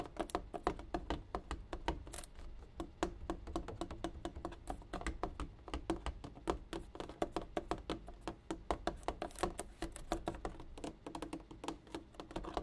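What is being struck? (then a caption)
Water jug. A water jug is tapped over and over in a quick, steady rhythm of short, dull knocks. Each tap has a hollow mid-low tone near 340 Hz and dies away almost at once, with little brightness.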